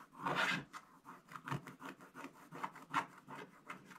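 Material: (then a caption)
Coated paper. A thin wooden stylus scratches away the black coating over the Christmas tree on a flat coated paper page of a scratch-art Advent book, which lies on a table while the other hand holds it open. One longer opening scrape is followed by a run of short, dry, raspy strokes, about eleven in all, each centred around 1 kHz with a bright hiss on top. The strokes are quiet and stop dead, with no ring after each one.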